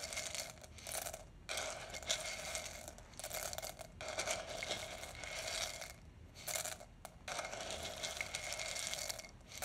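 A small wooden spoon is pushed into a large clear glass jar, held in one hand and about two-thirds full of roasted coffee beans, then scooped and stirred. The beans rattle against each other and the glass walls in dense, bright, crunchy bursts separated by brief pauses.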